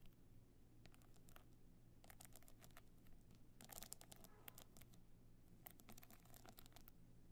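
Long nails scratch and tap the stone-chip covering of a box clutch held on its end. The sound is quiet, with bursts of bright, crackly scratching and clicking over a steady low hum.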